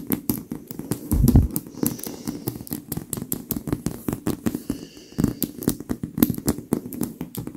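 Long acrylic nail tips tap and scratch quickly on the surface of a white stuffed leather pillow, with the hands staying on the pillow throughout. A dense run of short, dry taps with a soft, muffled low-mid body is heard, with a heavier burst of thumps near the start and again around the fifth second. Each tap dies almost instantly, leaving a steady, crackly patter.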